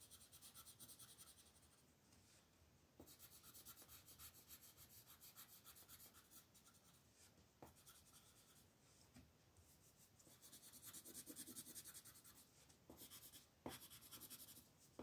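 A yellow wooden colored pencil rubs across a flat paper coloring book page in shading strokes while the other hand holds the page. The result is quiet, dry, scratchy rasping with bright hiss, coming in rhythmic bursts of quick back-and-forth strokes separated by brief pauses and a few sharp ticks.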